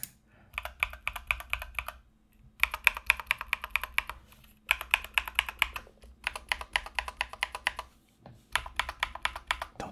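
A compact mechanical keyboard with Mozano EVE switches and white, blue and yellow sculpted plastic Knight King SA keycaps on a solid case is typed on by the fingertips of one hand. Bursts of fast, bright, clacky keystrokes come in five runs separated by short pauses, each press short and crisp with little low end.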